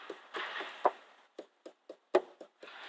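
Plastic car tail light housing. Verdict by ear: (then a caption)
Tight. Light taps on the plastic housing of the repaired and treated left rear tail light of a Ford Focus 3 give short, dull knocks that die away quickly. The light is secure and does not rattle, unlike the other tail light, which has not yet been fixed.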